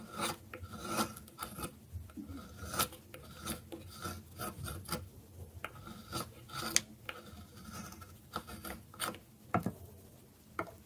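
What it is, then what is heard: Dry bar soap. A metal blade scrapes repeatedly across a solid bar of dry soap held on a wooden board. Short, dry, raspy strokes follow one another with bright, crisp edges and little ring after each pass. Between strokes there are brief quiet gaps.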